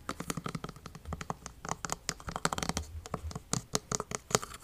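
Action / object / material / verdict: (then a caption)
tap / plastic lotion bottle with plastic cap / plastic / none. A medium plastic lotion bottle with a yellow plastic cap, partly full, is tapped and scratched with fingernails on the cap and body. About two dozen quick, dry taps and scratchy clicks follow one another, each with a soft low thump and a bright crisp edge. They stop dead with no ring.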